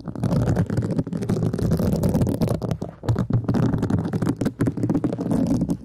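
A thin black brush-tipped stick, likely a mascara wand, scratches rapidly across a flat, rectangular, thin and solid pink woven synthetic scouring pad with a bound edge, held in one long-nailed hand. The result is a dense, muffled, low rustling scratch with many quick strokes running together and almost no bright top end, broken by a few brief pauses.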